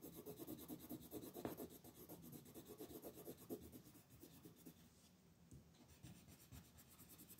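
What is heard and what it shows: A wooden colored pencil scratches and rubs across a flat white paper coloring sheet on a table while coloring the outer petals. Quiet, dry, papery strokes repeat at an uneven pace of about two per second, with a soft scratchy grain and a few slightly louder scrapes. The strokes fade a little toward the end.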